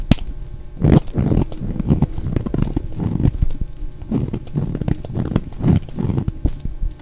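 A solid, dry, oval pink bar of soap held in the hand is shaved with a utility knife blade, curling off thin shavings. Repeated soft scraping strokes rise and fade in quick bursts with occasional sharper clicks, the sound mostly low and muffled.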